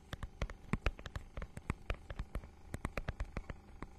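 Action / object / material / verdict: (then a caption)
scrape / textured plastic book cover / plastic / none. Long nails scratch rapidly across the holographic, scale-textured plastic cover of a notebook-sized book. The result is a quick series of short, dry, crisp scratches and taps, each with a soft low thump and a bright edge that dies away almost at once.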